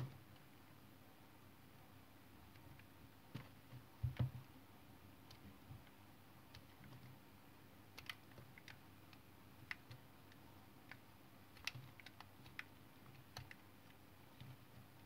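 A hand-held solid white patterned bar soap is cut and scraped with a utility knife blade. Many crisp, short clicks and snaps ring out sparsely over a quiet, low steady hum, with a louder cluster of cuts near the start.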